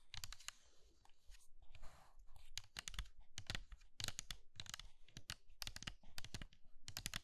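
Long red nails and fingertips tap and scratch across hollow pink and blue dry soap curls filling a small pink bowl made of soap. The result is a rapid run of dry, crisp crunches and bright clicks, each stopping short, with soft low thumps under the taps and brief scratchy rustles between them.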